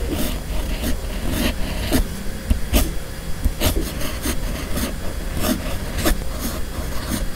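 A steel fountain pen nib on a red pen held in the fingers writes cursive across a flat white sheet of paper. It makes a continuous dry scratching with repeated short, bright stroke sounds, over a steady low rumble.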